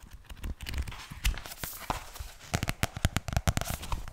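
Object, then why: Paperback book with glossy card cover. A medium pink paperback book with a glossy card cover, solid and closed, is held upright in front of the microphone and turned between its front and back covers. Fingertips and nails tap and scratch the glossy cover, producing a rapid run of short, dry taps with low thumps and bright scratchy rustling between them.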